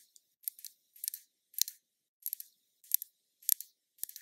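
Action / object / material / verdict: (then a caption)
tap / small glass bottle of liquid foundation / glass / none. Long nails tap a small glass foundation bottle with liquid inside, held in the hand. The quiet, bright clicks come in quick clusters of two or three about every half second, with no low end and almost no ring after each tap.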